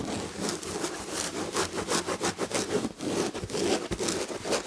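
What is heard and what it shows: Long red fingernails scratch the textured red and gold fabric upholstery on the back of a chair. Quick, uneven strokes produce a dry, rasping scratch with bright, hissy bursts over a faint soft rustle.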